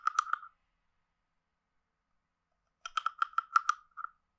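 A hand-sized, hollow carved wooden frog guiro is scraped along its ridges and tapped with a wooden stick. It gives a quick burst of three dry, hollow clicks, then a pause, then eight more in an uneven run. Each click is short and woody, centered around 1.3 kHz with a bright edge, and stops almost instantly.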